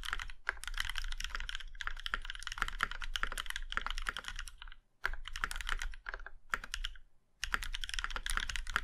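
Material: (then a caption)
Metal. Fingertips of both hands type steadily on a compact Plum Iron 165 mechanical keyboard with a plum-red aluminum case and black keycaps. The result is a dense run of crisp, sharp key clicks with a bright, clacky tone over a low thock. The typing stops in two short pauses before resuming.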